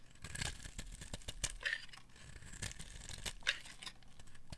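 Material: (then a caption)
Soap. A metal blade scrapes along the edge of a solid, dry white bar of soap held in the hand, peeling off crisp shavings. Irregular, dry rasping and crackling strokes with bright, papery edges come in quick, uneven bursts, each dying away almost at once.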